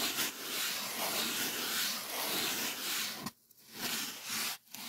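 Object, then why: Polyethylene foam sheet. Fingertips rub across the surface of a thick, solid, white polyethylene packing foam sheet, making a steady, bright, hissy scratching that runs almost without a break. The rubbing drops out briefly twice near the end before resuming.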